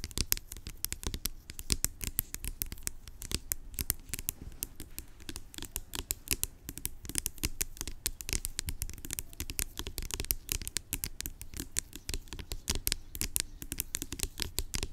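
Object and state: Plastic pump bottle.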